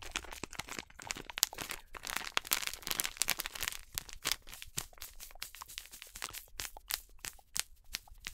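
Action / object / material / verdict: scrape / plastic foil snack bag / plastic foil / none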